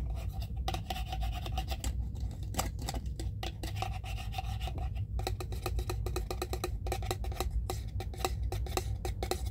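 A small clear plastic jar full of cotton pads has its ridged screw lid rubbed and scratched with the fingertips. The result is a steady, dense stream of quick rasping scrapes, with bright ticks over a low rumble.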